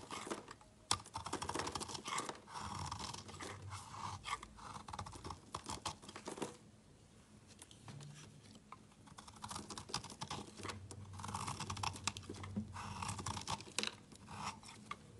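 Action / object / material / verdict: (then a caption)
scrape / bar of soap cut with a utility knife / soap / none. A utility knife cuts small chunks from a solid rectangular watermelon layered bar soap with red, green, black and white layers. Dense, dry crackling and scraping bursts come close together, with a quieter pause midway before the cutting resumes.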